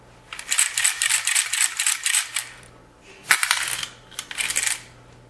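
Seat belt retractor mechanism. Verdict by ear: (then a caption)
Faulty. A faulty seat belt unit is shaken in three bursts, producing a bright, fast metallic rattle from its internal bearings. The rattle indicates a bad seat belt.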